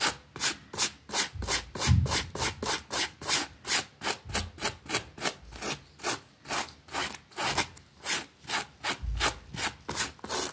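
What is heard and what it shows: A pink plastic bristle brush scrubs back and forth across a small, flat green fabric rug with a rabbit print, wet and soapy, lying on a concrete floor. About 26 quick, steady strokes make bright, hissing, wet swishes, with occasional soft low thumps underneath.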